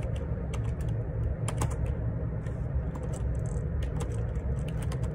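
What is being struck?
Plastic computer keyboard.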